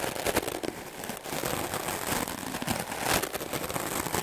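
A handheld, solid white melamine foam block is brushed rapidly with a wooden clothes brush with dark bristles. The result is a dense, continuous scratchy crackle with bright hiss, rising into louder strokes near the start and again around three seconds.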